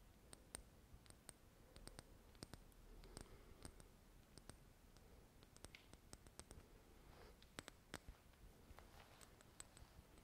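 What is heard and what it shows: Long nails tap and click on a small glass dropper bottle full of golden liquid. The result is a quiet, irregular stream of sharp, bright clicks that stop almost instantly, over a soft low background hiss with faint rustling.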